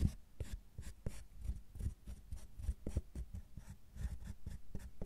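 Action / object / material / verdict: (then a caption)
scrape / milk chocolate bar scraped with metal carving tools / chocolate / none. Two metal carving tools with wooden handles scratch and scrape a solid milk chocolate bar, raising shavings. Short, dull scraping strokes repeat in quick succession, mostly low in pitch, with faint high, dry rasping at each pass.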